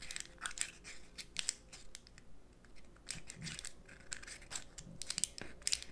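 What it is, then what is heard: Eggshell scratched and tapped with fingernails. Long nails scratch and tap the intact surface of a purple-dyed hollow eggshell confetti egg held in both hands over the carton. The result is a quiet run of dry, bright scratches and sharp little clicks that stop instantly, over a faint low hum. The shell stays uncracked.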